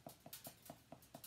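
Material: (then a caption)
Bread crust. A gluten-free baguette, baked that morning, is tapped six times, giving short, hollow knocks with a clear mid-range tone and a bright edge. The hollow sound shows the bread is baked through.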